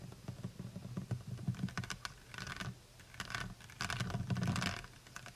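Long nails tap and trace the cap and plastic body of a full plastic honey bottle, making quick, light clicks and soft scratchy rubbing over a low steady hum. Taps come in brief bursts with short pauses, crisp ticks ringing out almost at once.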